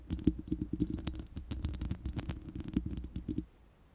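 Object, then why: Steel mesh microphone grille tapped and scratched with fingernails. Long manicured nails of both hands scratch and tap the uncovered, hollow, round steel mesh grille of a large studio microphone. A rapid, dense patter of soft taps and scratches comes through, heavy in low, boomy thuds with a midrange ring and faint bright clicks. It runs continuously for about three and a half seconds, then stops into near silence.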